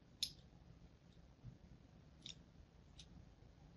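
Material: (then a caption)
Soap. A thin blade scores crosshatch lines into the surface of a solid pink and white striped bar of soap held in the hand. Three light, bright scratching clicks stand apart, each dying away almost at once, over a quiet low background rumble.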